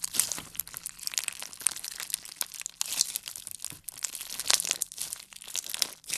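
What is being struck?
Clear slime packed with plastic beads.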